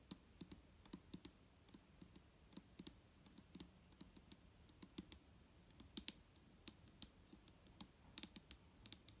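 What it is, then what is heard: Plastic liquid bottle tapped with fingernails. Long nails tap a rapid, uneven run of light taps on the body of a large, clear plastic micellar water bottle full of liquid as it lies on a table. Each tap is a short, dry click with a soft low thud and a bright, high tick that dies away almost at once. The tapping stays quiet throughout.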